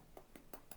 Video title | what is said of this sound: СОКОВИТИЙ ТЕПЛИЙ САЛАТ З БАКЛАЖАНІВ І ПОМІДОРІВ - ГОТУЄТЬСЯ ЗА 15 ХВИЛИН /ШЕФ ВДОМА | Який глухий звук. Значить, баклажан повністю просмажений.